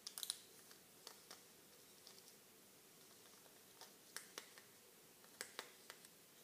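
Fingertips press and click the clear plastic bubbles of a small, flat plastic-and-aluminum-foil blister pack holding pink tablets, held in both hands. Quiet, sharp, bright clicks and crinkles come in scattered bursts, with a cluster at the start, and each dies away instantly against a soft background hiss.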